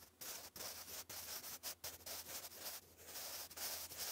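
A sharpened wooden graphite pencil writes English cursive across a thick sheet of grey lined cardstock paper lying flat. The result is a quiet, bright, hissy scratching that comes in a series of short strokes separated by brief pauses, with almost no low end.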